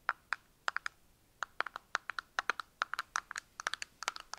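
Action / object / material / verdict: tap / small translucent plastic box / plastic / none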